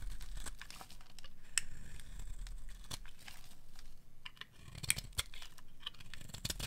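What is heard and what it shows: A metal blade scrapes and carves curls off the edge of a solid pink oval bar of dry soap held in a hand with long nails. Dry, crackly scraping and crunching rasps run throughout, broken by sharp bright clicks as the curls break away, over a faint low rumble.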